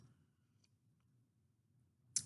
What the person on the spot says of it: it sounds plastic but it's not it actually is a ceramic mug anyway